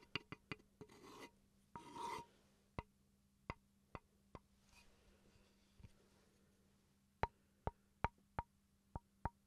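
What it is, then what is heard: Wooden chopping board. A small, rectangular, solid wooden chopping board with a bamboo look is held upright in one hand and tapped and scratched with the tip of a wooden pencil. Fourteen short, dry knocks ring around 930 Hz and fade almost instantly. Two brief raspy scratching passes early on and a faint rub midway fill the quiet between the taps.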